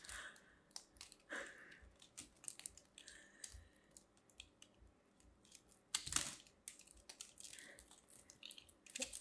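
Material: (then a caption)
Soap. A metal blade carves and scrapes a solid pink ball of grated soap held in the hand, and pieces crumble away. Many short, crisp, bright scraping crackles and clicks come in quick bursts at a quiet level, with a louder, rougher scrape around the six-second mark.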